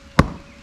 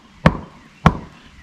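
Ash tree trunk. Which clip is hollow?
The second.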